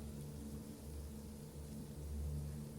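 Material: Nothing is struck.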